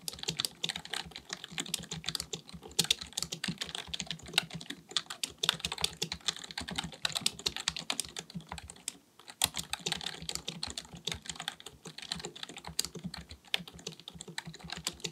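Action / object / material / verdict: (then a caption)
tap / plastic computer keyboard / plastic / none. Both hands type continuously with their fingertips on a black, full-size plastic keyboard resting on a desk, likely mechanical with a hollow body. Rapid, bright key taps clatter in a steady, dense stream with a brief pause around nine seconds. Each click is sharp and short with almost no ring.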